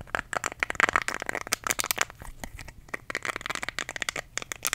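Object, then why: Silicone facial cleansing brush. Fingertips rub and scratch across the soft nubs of a small, round, pink solid silicone facial cleansing brush held close to the microphone. A rapid run of short, dry, crackly scratches and ticks sounds, bright and crisp with almost no low end. Each one stops sharply, with bursts of denser rubbing in between.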